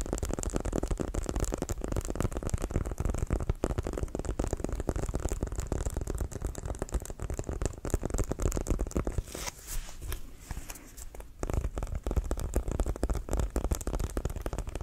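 A full-size, inflated, hollow brown pebbled composite leather American football with a white stripe is held in the hands and tapped and scratched with fingertips and nails. A rapid, continuous stream of dull, low, hollow taps fills the clip, easing into a quieter, softer scratching stretch before the tapping resumes at full pace.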